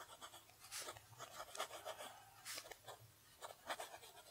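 A fountain pen nib scratches across a flat sheet of lined paper on a desk while writing cursive. It makes quiet, bright, raspy scratching strokes in short bursts with brief pauses between them.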